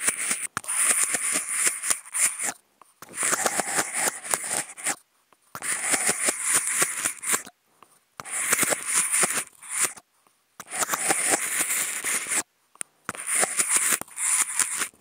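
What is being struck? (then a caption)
Expanded-polystyrene food container scratched with wooden toothpicks. Two wooden toothpicks, each fitted with a clip-on contact microphone and held by fingertips, scratch along the ribbed side wall of a medium, hollow, empty, hexagonal white expanded-polystyrene food container resting upside down on grey felt. Bright, dry, crackly rasping comes in repeated bursts with short silent gaps, dense with fine clicks and with almost no low end.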